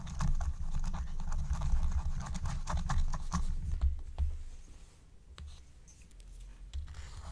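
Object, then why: Scratch-art coated paper sheet. A wooden stylus scratches the coating of a thin black-coated scratch-art card lying flat, making rapid, dry scratching strokes over a steady low rumble with faint music. The scratching is busy for about four seconds, then thins out into softer, sparser strokes.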